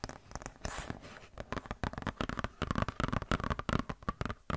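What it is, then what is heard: Glossy paper catalog. A glossy paper Blizzard Shop catalog booklet is scratched and flexed with long nails and fingertips. It makes dense, rapid crinkly scratches and taps with a soft rustling stretch early on. The sound is close and quiet, with a heavy low thump under the crisp paper texture.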